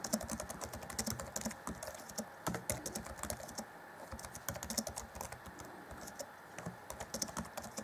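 Fingertips of both hands type rapidly on the black plastic chiclet keys of a grey-decked Acer Chromebook C20 (2014) plastic laptop keyboard. A dense, steady stream of light, bright clicks and soft thuds is heard, each one dying away almost instantly. The stream eases briefly around the middle before picking back up.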